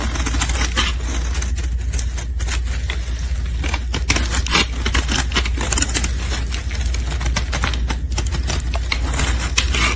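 A metal blade scrapes a solid pink soap bar held in gloved hands, and flakes fall away. Dense, crisp, bright rasps and crackles follow one another continuously over a steady low hum for the whole clip.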